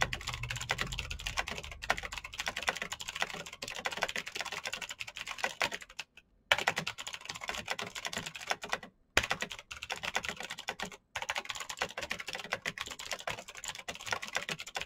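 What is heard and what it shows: Fingertips of both hands press the keys of a black plastic mechanical keyboard with clicky switches in rapid typing. A dense stream of short, bright, sharp clicks runs throughout, with a faint low rumble in the first two seconds. The typing briefly stops near 6, 9 and 11 seconds.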